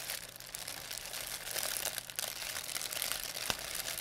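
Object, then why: Thin plastic bag. A thin white plastic pharmacy bag with red and blue print, crumpled into a ball, is crinkled and squeezed in both hands by fingers with long painted nails. The result is a steady, quiet, bright crackling with almost no low end, rising slightly in the second half and marked by one sharper crisp snap near the end.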